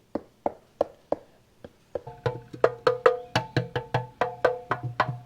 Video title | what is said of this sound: 1975 Kawasaki KE125 Resurrection Continues — Tank Edition | That sounds like metal now.